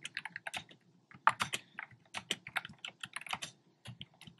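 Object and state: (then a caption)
Plastic keyboard typing. Fingertips with short nails type on a black plastic keyboard with hollow, round retro-style plastic keycaps in cream, pink and red. Quick, bright, clacky taps come in uneven bursts with brief pauses between them, each click dying away almost instantly.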